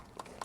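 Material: Metal.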